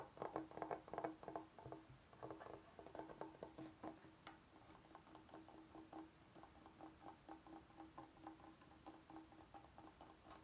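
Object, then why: Bamboo cutting board. Fingertips and nails tap and scratch the surface of a large, flat, solid bamboo cutting board held upright, and later tap it while the board is tilted. Quick, irregular wooden taps carry a steady mid-low ring near 320 Hz, louder clustered bursts at the start easing into softer, steady tapping with faint scratchy texture.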